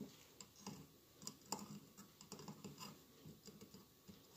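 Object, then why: Glass mosaic candle holder. Fingernails scratch and tap the tiles of a hollow glass mosaic votive holder with a lit candle inside. Quiet, dry scratching runs throughout, broken by short, bright ticking taps that die away almost instantly.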